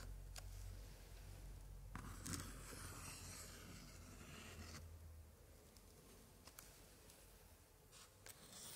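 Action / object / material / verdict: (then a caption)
scrape / old paper scrapbook page / paper / none. A white-gloved hand touches an open 1880s paper scrapbook page with pasted color prints, then traces and scratches across it with a thin pointer. Soft dry scraping and rubbing sounds with bright crinkly paper texture come in uneven strokes over a steady low hum. Occasional sharper ticks stand out as the pointer catches the surface.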